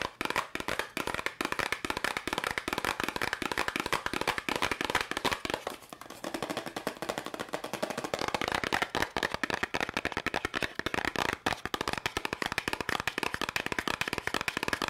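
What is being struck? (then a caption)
Small cardboard box. Long nails tap and scratch fast on a small, hollow yellow and red cardboard candy box held in the hands. The result is a rapid, dense stream of short, sharp, bright clicks with a papery, hollow tone centered near 1 kHz, little low end, and almost no ring. There is a brief softer, scratchier stretch around the six-second mark before the fast tapping picks back up.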